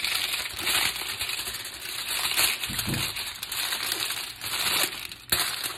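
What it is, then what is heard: Aluminum foil being crumpled. A thin sheet of aluminum foil, held in both hands with long painted nails, is crumpled, squeezed and twisted into a rope-like coil. It makes a steady, bright crinkling and crackling with almost no low end, swelling and easing as the foil is worked. A sharper crackle near the end stands out before the sound fades.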